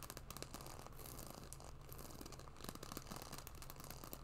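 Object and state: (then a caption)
Patent leather wallet scratched with nails. Long nails scratch and tap a small black, glossy croc-embossed patent leather wallet with a metal logo plate, held upright. A quiet, steady stream of fine scratching is heard, dotted with quick, dry little taps over a constant low hum.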